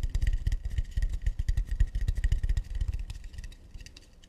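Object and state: Acacia wood plate.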